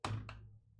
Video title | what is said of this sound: Pixels Dice - January 2024 Livestream Recording | if you ever roll one you can tell immediately and it has this this really terrible rolling sound